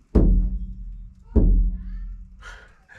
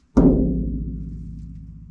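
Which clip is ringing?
The second.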